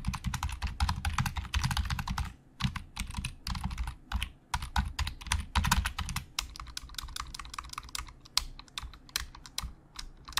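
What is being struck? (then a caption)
Plastic computer keyboard. Fingertips type and tap on a black plastic Logitech keyboard with hollow plastic keys. Quick bursts of dry, clacking keystrokes have hollow low thumps under bright clicks, broken by brief pauses. Each stroke stops almost instantly.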